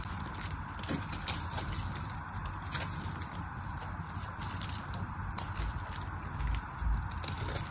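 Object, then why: Soap bar. A small black knife blade carves and scrapes a solid rectangular pink bar of soap held in one hand, with flakes falling onto a pile of soap shavings below. The result is a continuous, irregular crackly scraping texture over a low, dull rumble, with faint bright crisp edges from the cutting.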